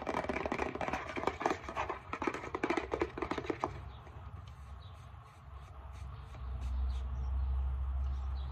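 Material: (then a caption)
Plastic. Long metallic-painted nails scratch and tap the back label of a plastic isopropyl alcohol bottle, then tap the front. The first few seconds are dense, crackly scratching with quick clicks. The rest is softer, sparser tapping over a steady low hum that swells near the end.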